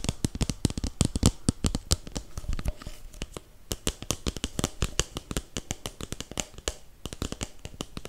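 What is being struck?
Disposable paper cup.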